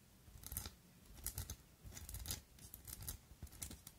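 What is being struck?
Gold filigree metal-covered glass perfume bottle.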